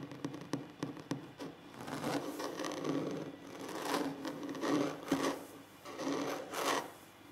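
Fingernails scratch and rub the surface of a large solid wooden tabletop. A run of quick, dry clicks opens the clip, then gives way to longer rasping strokes that swell and fade with a hollow low-mid woody tone and soft, bright edges.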